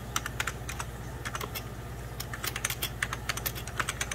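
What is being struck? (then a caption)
Plastic computer keyboard. Fingertips and short nails rapidly type on a full-size 1990s Packard Bell keyboard, its beige plastic keys set over a hollow plastic case. The result is a quick stream of short, bright, clicky key taps that die away almost instantly, over a steady low hum.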